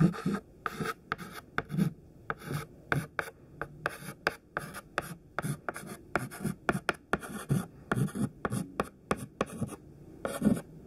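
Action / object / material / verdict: scrape / chalk stick on a chalkboard / chalk / none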